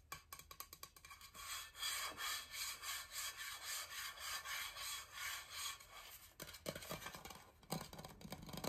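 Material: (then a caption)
Coated steel. Fingertips and nails scratch and rub the coated surface of a large, hollow, blue powder-coated insulated stainless steel water bottle held in both hands. The result is a quiet, dry, bright, rasping hiss in rapid back-and-forth strokes, with a steady run of smooth swells in the middle and sharper, choppier scratches at the start and end.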